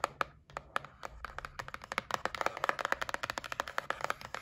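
Long nails tap and scratch across the lid of a white printed cardboard gift box. About thirty quick, dry taps follow one another, each with a hollow mid-range click around 1.3 kHz and almost no ring, over a faint scratching hiss.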